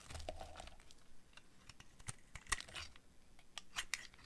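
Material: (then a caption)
Soap. A utility knife blade scrapes and cuts into the surface of a hand-held, solid purple oval bar of dry soap with a dark coating. It makes a quiet run of short, dry scratching and crunching strokes with bright crackly edges. Each stroke dies away almost instantly.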